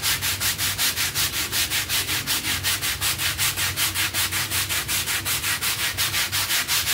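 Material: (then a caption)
Textile. A bristle hand brush scrubs back and forth across a soapy, foamy, half-round textile pile rug lying on a tiled floor. It makes a steady, fast rhythm of bright, hissy scrubbing strokes, each swelling and fading with the brush's motion.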